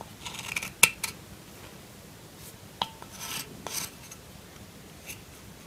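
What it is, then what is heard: Bar soap scraped with a knife. A solid lilac soap bar held in the hand is scraped and shaved with a metal kitchen knife blade, so flakes come off. Several short, crisp, bright scrapes and rasps stand out against a quiet background, with almost no low end and little ring after each stroke.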